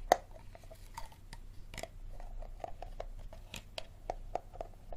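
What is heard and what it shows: Fingertips and nails tap and scratch the sides and ridged bottom of a small, empty, clear plastic Dasani water bottle with a label and green cap as it is turned. About a dozen quick, hollow, plasticky taps with a mid tone near 720 Hz rise out of a soft, continuous scratching rustle. Each tap ends almost immediately.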